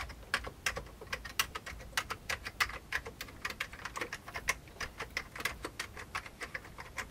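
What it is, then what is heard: Old plastic computer keyboard being typed on. Fingertips type steadily on the keys of an old beige plastic computer keyboard. A rapid, uneven stream of short, bright plastic clicks sounds, each dying away almost instantly, with little low end beneath them.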